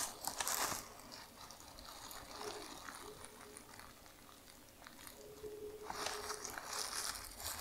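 A large, soft, white plastic bag is balled up in the hands and squeezed and crumpled by fingers with long nails. Bright, dense crinkling bursts out loudly at the start, settles into quieter rustling and light crackles through the middle, then swells into loud crumpling again at the end.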